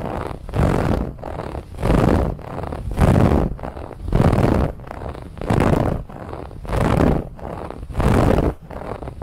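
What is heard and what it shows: Fingernails scratch aggressively over the woven lattice band of a soft white pillow. The rough, papery scratching rises into louder strokes in a steady back-and-forth rhythm, with quieter scratching between them. The sound is low and full, without much brightness.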